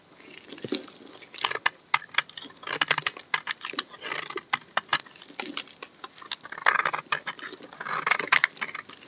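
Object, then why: Bar of soap scraped with a knife blade. A hand-sized, solid peach-orange bar of dry soap, held in the hand, is scraped and shaved along its edge with a utility knife blade, so flakes and powder fall away. The sound is a rapid series of short, dry, bright scraping crackles with almost no low end, mixed with softer rustling passes.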